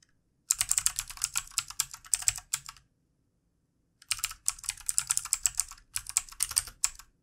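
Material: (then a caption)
Plastic. Fingertips of both hands type rapidly on the keys of a backlit plastic computer keyboard, producing bright, crisp clicks with almost no ring. The typing comes in two bursts separated by about a second of silence.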